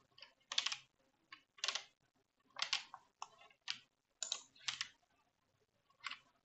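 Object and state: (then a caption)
Plastic computer keyboard being typed on. Both hands type with fingertips and nails on a black plastic computer keyboard resting on a wooden desk. Short, bright clicky bursts of keystrokes come in an irregular rhythm, separated by brief silences. The sound is crisp and mostly high, with almost no low end.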